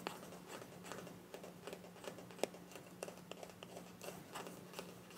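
Long nails scratch and tap a small, filled white plastic cosmetic tube with a mint cap. Soft, dry scratching is punctuated by quick, sharp taps that die away at once, over a faint, steady low hum.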